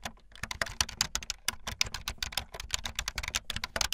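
Fast typing on a full-size backlit plastic Bluetooth membrane keyboard with white and blue plastic keycaps and a hollow plastic body, with keys pressed by fingertips and the tips of long painted nails. The result is a quick, continuous run of short, bright plastic clicks and clacks over a faint low hollow thump, each click dying away almost instantly.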